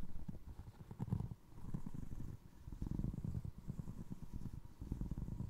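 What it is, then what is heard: Foam resin clog. Fingertips tap the side of the upper of a single navy blue foam resin Crocs clog, then scratch its ridged sole. The sound is soft, muffled, low thumping and rubbing with almost no brightness and no ring after each touch.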